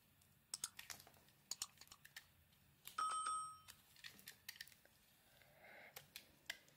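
A metal blade scrapes thin curls off an oval solid bar of soap with a pearly iridescent coating and blue marbled inside, held in the palm. Quick, crisp scraping clicks with bright edges are heard, and about halfway through comes a longer scrape with a brief ringing tone near 1.3 kHz. The clip ends with a soft hiss and a few more sharp scrapes.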